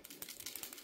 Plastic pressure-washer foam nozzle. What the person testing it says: Si sente un rumore di tintinnio all'interno.